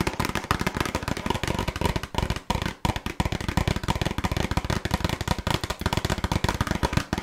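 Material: Cardboard.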